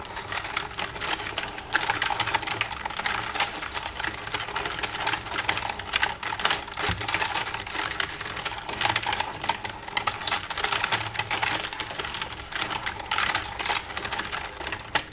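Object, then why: Plastic computer keyboard keys. Long red nails tap quickly across the keys of a black plastic computer keyboard, making a dense, steady stream of bright, dry clicks with very short decay. A faint low hum sits under the tapping throughout the 15 seconds.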